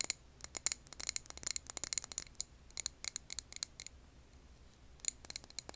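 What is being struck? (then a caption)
Glass candle jar filled with wax. Long nails tap a clear glass jar filled with green wax candle, giving about 23 quick, sharp, bright clicks with almost no ring. The taps come in fast irregular bursts, pause briefly near the end, then resume with a few final clicks.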